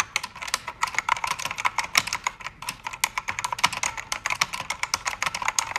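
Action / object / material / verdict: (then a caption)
tap / plastic-keycap mechanical keyboard / plastic / none. Fingertips and nails type on a full-size black backlit mechanical keyboard with plastic keycaps, lit red, pink and blue. A steady stream of sharp, bright clicks and clacks comes through, with very little low end.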